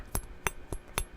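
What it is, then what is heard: Hollow silverware handle. A hollow metal silverware handle is tapped four times, giving short, dry clinks with brief bright ringing over a dull low thump. The handle's cap would not come off with the flame.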